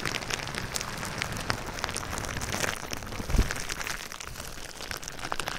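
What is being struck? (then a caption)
Plastic bubble wrap. Fingertips and nails tap and scratch clear plastic bubble wrap wrapped around a binaural microphone. A steady stream of quick, crinkly ticks and soft scrapes patters like rain over a low, muffled rumble, with one heavier thump standing out partway through.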